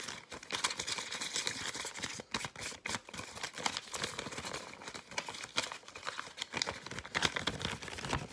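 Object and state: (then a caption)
Paper fortune teller. A yellow folded-paper fortune teller (cootie catcher), hollow folded paper, is tapped, scratched and crinkled with fingers and nails. The result is a dense run of fast, dry, crisp clicks, scratches and crinkles, mostly bright and high-pitched, with very little low end and no ringing after each contact.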